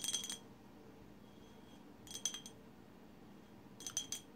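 Long silver-white acrylic nails on both hands tap and scratch the sides of a tall glass bottle painted with blue, white and green swirls, which stands empty on a woven placemat. Three short bursts of bright, high-pitched glassy clicks and ticks are heard. Each click dies away almost instantly, with quiet pauses between the bursts.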